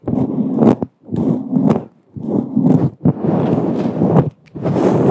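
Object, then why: Synthetic fur microphone windscreen. Long acrylic nails scratch and rub across a fluffy grey-white faux fur windscreen on a microphone, a soft, hollow synthetic fur cover. Close, muffled rustling and scraping comes in about five bursts of rubbing separated by brief silences, mostly in the low-mid range with occasional brighter scratchy edges.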